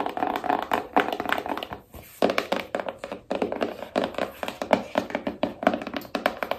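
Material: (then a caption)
Cardboard. A small, rigid cardboard iPhone box held in both hands is tapped with long nails on its top and back, giving about 35 quick, dry clicks and thuds centered in the mids around 600 Hz. Each tap dies away almost at once, with short pauses near 2 and 3 seconds breaking the steady tapping.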